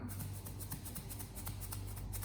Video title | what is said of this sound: Why Swisspro Carbon Filter is Different | by shaking it you will simply hear that there is a sound which means that is loose carbon